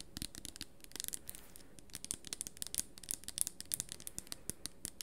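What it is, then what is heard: Plastic spray bottle. A small red plastic hair-treatment spray bottle with a black pump cap, held in both hands close up, is tapped and scratched along its body with long nails. Many quick, crisp clicks and scratches sound bright and dry over a faint low hiss. They fall in an irregular stream across the whole clip, with no ring after each one.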